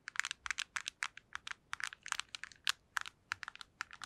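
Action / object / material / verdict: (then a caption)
tap / plastic handheld game console / plastic / none. A black PSP handheld console, hollow plastic and held close to the mic, is tapped rapidly with long nails. The result is a quiet, quick, uneven run of dry, bright clicks with almost no low end, each cut off instantly with no ring, like light keyboard clatter.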